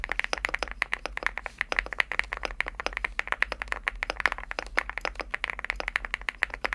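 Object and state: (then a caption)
Aluminum mechanical keyboard with PBT keycaps. Fingertips type on a Leobog Hi8 75% mechanical keyboard with a green aluminum case and cream PBT plastic keycaps. A fast, steady stream of dozens of crisp, dry clacks follows, each keystroke short with almost no ring and a bright midrange snap centered near 2 kHz, with very little low end.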